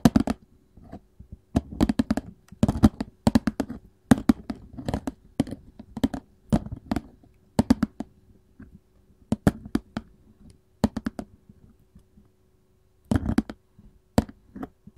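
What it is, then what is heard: Cardboard candy box. Gold filigree metal claws tap and scratch the printed paperboard lid of a cardboard candy box, seen close-up from above. Quick, dry clicks and scratchy bursts come in clusters separated by short pauses, over a faint steady hum.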